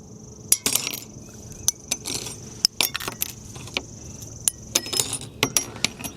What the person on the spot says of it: it actually sounds like metal now when we break it. And actually, that's the sign that you have processed your biochar enough, is when you get that metallic clink.